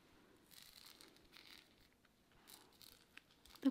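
A rough, pale, fist-sized raw quartz or calcite chunk is held in both hands while long nails scratch and tap its uneven surface. Soft, dry scratching comes in brief bursts with a few light clicks, then ends in one sharper, louder tap with a short mid-low ring.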